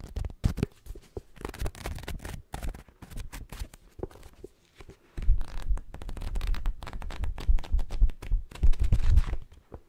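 Long nails and fingertips flip and riffle the paper pages of a thick paperback book with a dark cover, held open close to the microphone. Quick papery flicks and rustles come in a dense, uneven run, pause briefly near the middle, then return as louder, more continuous riffling as the pages fan out.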